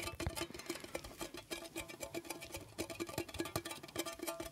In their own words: 2:34-4:08 Tapping on metallic tea box